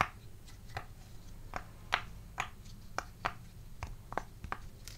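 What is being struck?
Silicone pop-it fidget toy.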